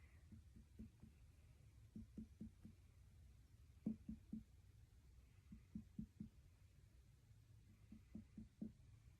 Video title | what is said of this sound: Abdominal • Neurological • Musculoskeletal Assessments by ALYSSA | sounds Hollow all the way across which is normal